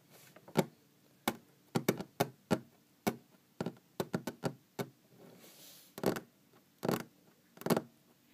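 Long green-painted fingernails tap a large, solid wooden tabletop 17 times, making short, dry, low-pitched knocks with almost no ring. Around the middle, a brief, soft scratching rasp across the wood breaks the tapping.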